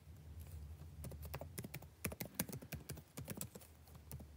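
Fingertips type continuously on the blue-backlit plastic keycaps of a dark laptop keyboard. Rapid, quiet, clicky taps with bright, short ticks come in an irregular flurry over a steady low hum.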